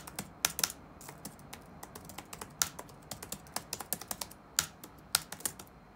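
Fingertips type rapidly on the black plastic keys of an open laptop resting on a wooden desk. About two dozen quick, bright, dry clicks come in uneven bursts over a soft background hiss, with almost no low end and no ring after each tap.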